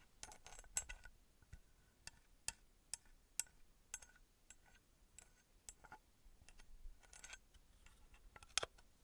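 Long fingernails tap the engraved faces of a small copper-colored metal pyramid held up in one hand. Thirteen quiet, sharp, bright clicks and light scratchy ticks come at an uneven pace, each dying away almost at once with no ringing.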